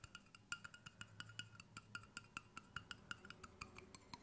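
Fingertips tap the flat bottom end and the side of a hollow stainless steel water bottle held at an angle, producing 25 quick, light metallic taps over about four seconds. Each tap gives a short, bright ping pitched near 1.4 kHz with higher overtones. The pings die away almost at once over a soft, low background.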